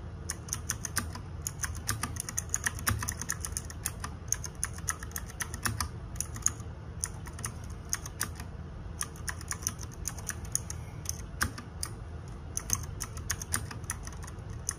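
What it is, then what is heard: Plastic mechanical keyboard being typed on. Fingertips and nails type rapidly on a small RGB-backlit 60% mechanical keyboard with plastic keycaps, producing a fast, steady stream of sharp, bright clacks. Each keystroke is short and dry with almost no ring. A constant low rumble sits underneath the clicking throughout.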